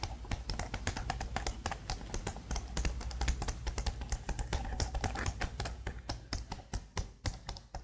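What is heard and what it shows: Long blue nails tap and type fast on the number-pad keys of a black plastic laptop keyboard. The result is a rapid, steady stream of sharp, short clicks with bright tops over a constant low hum underneath.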